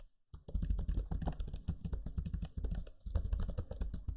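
Fingertips type rapidly on the low-profile plastic keys of a backlit black Lenovo Legion 5 laptop keyboard. After a brief silence, a dense run of soft, dull key clicks and thumps follows, mostly deep in tone with short crisp ticks and little ring. There is a slight pause near the middle before the typing continues.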